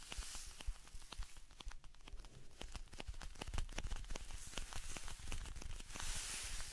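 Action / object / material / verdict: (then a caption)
tap / small cardboard salt carton / cardboard / none. Fingers scratch and tap a small, hollow blue "Alpen Salz" cardboard salt carton held close to the face. Quick, dry clicks and crackly scratches sound in an irregular stream, each tap dying out almost instantly over a soft, low hollow thump. Brighter, hissy scratching swells at the start and again near the end.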